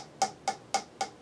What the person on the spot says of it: if you tap this you guys hear that it's kind of like low pitch